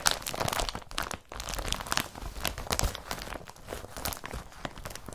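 Fingertips rub and crumple an empty blue woven polypropylene IKEA BRATTBY carrier bag. A steady, dense crinkling and rustling runs throughout, with bright papery crackles over a soft low rumble of handling. The crackles come in quick, dry bursts with no ring after them.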